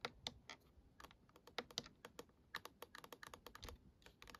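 Long acrylic nails and fingertips tap and scratch a small, hollow black plastic star projector night light dome with star cutouts. About 23 quick, dry, bright clicks come in an irregular run, sounding much like typing on a keyboard. Each tap dies away almost instantly, with very little low end.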